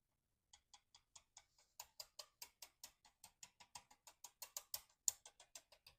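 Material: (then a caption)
Wood. A bent wooden arrow shaft with a high spot is tapped against a surface to locate the bend during straightening. The result is a rapid, even run of short, light, bright clicks that grow somewhat louder partway through, marking where the bend lifts the shaft.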